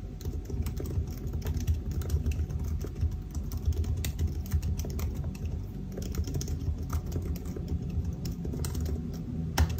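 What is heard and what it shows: Fingertips of both hands type somewhat slowly on the black plastic keys of a silver aluminium laptop keyboard. The result is a steady stream of soft, short clicks and taps over a low, dull thud-heavy body, with occasional brighter ticks.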